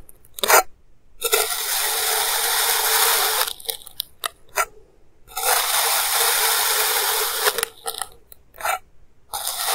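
A clear plastic knife slices repeatedly through a small, solid block of molded purple kinetic sand on a white table, cutting and scraping it into thin layers. Long, bright, grainy hissing strokes alternate with short crisp crunches and ticks as the blade enters and lifts away, with almost no low end.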